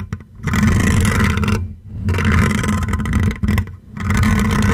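Fingertips and short nails scratch and rub across the hollow metal wire-mesh grille of a silver condenser microphone while a hand wraps around its top. Close, heavy scraping fills the low end with a deep, rumbling, muffled texture and some brighter crackle above, in long rough passes separated by brief near-silent pauses.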